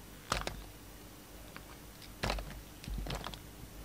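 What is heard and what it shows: A utility knife blade cuts and shaves thin slices off the faceted surface of a solid, palm-size purple bar of soap held in the hand. Short, crisp scraping and crackling bursts of bright, broadband texture come in uneven clusters. A faint, steady low hum sits underneath.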